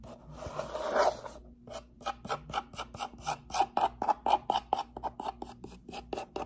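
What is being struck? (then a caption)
Cardboard box. A closed, hollow brown cardboard box with a hand slot is held tilted in one hand while the nails of the other hand scratch and tap its face. About a second of continuous rasping scratching is followed by 17 separate quick strokes, each a short, dry, papery scrape centered in the midrange with brief high hiss. The strokes have almost no ring and sit on very little low end.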